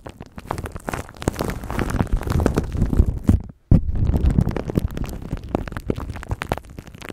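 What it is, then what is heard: Plastic wrap crinkled on a microphone. Fingertips and nails scratch and crinkle a thin clear plastic bag wrapped around a microphone. The result is a dense, irregular stream of crackling and rustling with a heavy low rumble, broken by a brief silence about halfway through.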